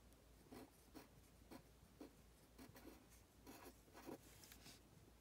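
A pen held in the hand scratches across a thin printed paper worksheet while writing Chinese characters. Quiet, short scratchy strokes with a bright papery hiss come in an irregular rhythm over a faint low hum.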